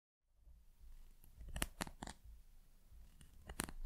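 A thin, solid wooden pencil with a carved bird topper is tapped and scratched along its shaft with long nails. A low, rough scratching runs throughout, broken by several short, sharp, bright taps that die away almost instantly.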